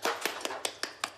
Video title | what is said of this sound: Canicule : la France suffoque｜TF1 INFO | creux. Donc ça veut dire que même fermé, elles sont mortes à l'intérieur